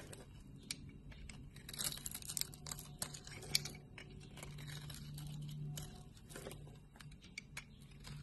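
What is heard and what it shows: A solid light blue bar of soap held in the palm has slices cut and scraped off with a blade, with shavings lying around it and long nails visible. Quiet, crisp scraping and crackly bright ticks come in short bursts over a steady low hum, with a few sharper clicks standing out.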